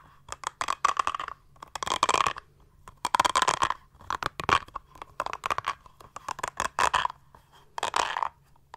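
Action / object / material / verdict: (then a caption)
scrape / textured silicone pad / silicone / none. A small mint-green textured silicone makeup brush cleaning pad, solid and flexible, is held in both hands and scratched and tapped with long manicured nails. Bursts of dry, crisp scratching alternate with quick clusters of light taps, each sound short with almost no ring and a bright edge.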